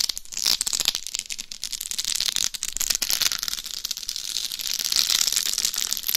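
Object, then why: Rhinestone-covered plastic dummy head microphone. Long nails scratch across the top and sides of a life-size binaural dummy head microphone covered in rhinestones over a hard shell. The result is a steady, dense stream of bright, crisp scratching and tiny clicking rattles, with almost no low end.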